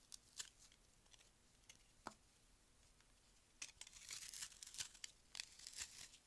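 A palm-sized, solid frozen melamine foam magic eraser is held by hand and cut and scraped with a metal utility-knife blade. Sharp, bright scraping and crunching sounds come in scattered strokes at first, then denser, grittier carving bursts near the end. The blade leaves crumbly shavings.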